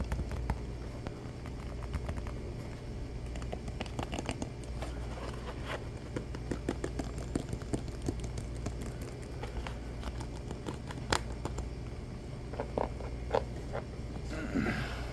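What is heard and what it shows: Fingertips quickly tap and scratch the rubber sole and heel of a black shoe held in both hands. The result is a fast, steady run of short, dry taps and scratchy crackles over a low, constant hum, with a few sharper clicks standing out.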